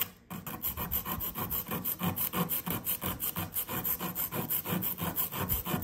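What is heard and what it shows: A blue plastic chisel scrapes repeatedly across a solid blue compressed sand dig brick resting on a paper towel. After a brief quiet start, a fast, fairly steady run of about sixteen gritty, rasping scratches follows, with loose sand crumbling under each stroke and a bright hiss on top.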